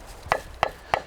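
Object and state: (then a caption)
Mature bamboo culm with hardened wall, clear knock. An older bamboo culm, its inner flesh grown hard, is knocked three times, giving short, clear, hollow knocks with a tone around 690 Hz that die away almost instantly. This clearer sound marks the older, harder bamboo that a craftsman looks for when making traditional Korean fans.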